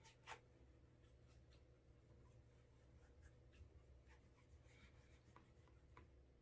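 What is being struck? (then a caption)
Leather shoe rubbed with a waxed cloth. A cotton cloth over fingertips rubs wax in small circles on the toe cap and side of the upper of a brown leather Alden Straight Tip Blucher cap-toe shoe fitted with a shoe tree, building a wax burnish. A quiet, steady soft rubbing and swishing sits over a low hum, with a few faint bright ticks and scuffs scattered through.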